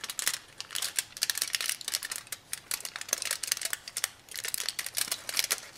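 A small sheet of thin aluminum foil held in both hands is crumpled and crinkled into folds by the fingertips. Dense, bright crackling comes in quick bursts of sharp, dry ticks with almost no low end. The crinkling pauses briefly and picks up again.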